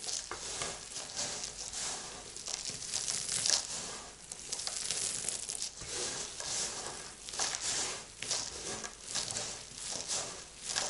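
A heap of dry crumbled soap flakes and chunks on a white surface is rubbed and spread flat by fingertips with long lilac nails, then scooped up by the handful and let trickle down. It gives a continuous, bright, crinkly crunching and rustling with almost no low end, swelling and fading in soft waves of dense, gritty crackle.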